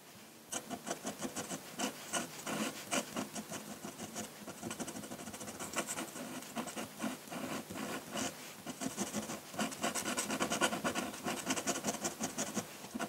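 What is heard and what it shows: A metal dip-pen nib in a wooden holder, held by fingers, scratches ink lines across a large flat sheet of drawing paper lying on a solid table, the pen staying on the paper throughout. The sound is a steady, uneven run of dry, raspy scratching strokes with bright hiss and little low end, each stroke short and dying away quickly.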